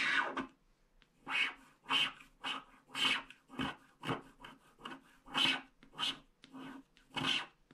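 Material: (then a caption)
Coated paper. A wooden stylus scratches the border strip of a flat paper scratch-art card with a black coating, piling up coating flakes. A series of short, bright, rasping scrapes is heard, separated by brief quiet gaps, with little low end.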